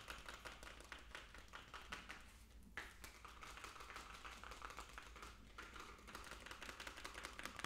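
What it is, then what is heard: Plastic jar tapped. A small hollow plastic fish food jar with a blue plastic lid is held in the hands and tapped rapidly with fingertips and nails on the lid and sides. The result is a dense, continuous patter of short, dry clicks and taps with almost no ring, centered around 1.1 kHz with some bright edge, over a low steady hum.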